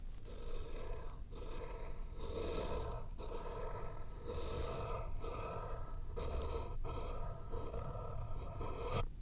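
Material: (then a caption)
Paper. A pencil tip held in fingers scratches across a flat white sheet of paper resting on a thick, solid layered board, writing the word "Hello." The result is a steady, dry, scratchy rasp with brief pauses between strokes, mostly low and soft with little bright content.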